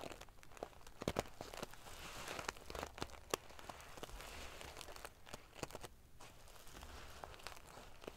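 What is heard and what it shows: Fingers and long nails scratch and ruffle a large padded pillow covered in rows of silver metal sequin pieces. The result is a quiet, steady bed of dry, crinkly rustling broken by sharp, bright clicks as the metal pieces flip and tap against each other.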